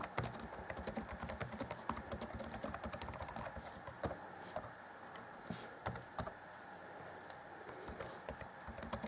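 Fingertips of both hands type rapidly on the black plastic chiclet keys of an Acer Chromebook C20 (2014) plastic laptop keyboard with a grey deck. A dense run of short, dry, bright plastic clacks thins to a few scattered taps midway, then picks up again toward the end.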